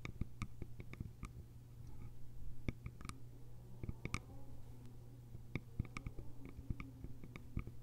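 Long nails tap and scratch the sides of a small, hollow, cylindrical bamboo container with a lid. The result is a quiet stream of quick, dry clicking taps with bright, sharp tops, mixed with soft scraping strokes over a steady low hum.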